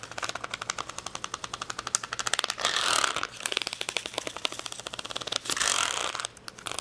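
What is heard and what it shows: Long fingernails rapidly tap and scratch across a plastic acrylic rhinestone sticker sheet with a clear plastic backing, resting on a towel. Dozens of quick, bright, dry clicks rattle out with almost no low end, broken by two denser bursts of hissy scratching, the first near three seconds and the second near six.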